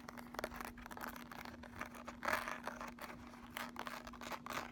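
Long nails scratch across the ridged, embossed lid of a handheld flat makeup palette case, making a dense run of quiet, dry, raspy scrapes and clicks. One louder, brighter swipe comes near the middle, and a faint steady low hum runs underneath throughout.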